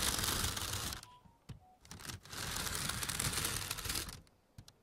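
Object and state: Plastic-wrapped bundle of foam trays.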